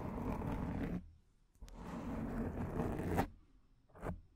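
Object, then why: Foam microphone windscreen. Long nails scratch across the front of a black foam microphone windscreen, giving a close, rough scraping rustle. Two sustained scratching passes, one about 1 s long and a longer one ending in a sharp peak near 3.2 s, are followed by a brief scrape at the end, with quiet gaps between.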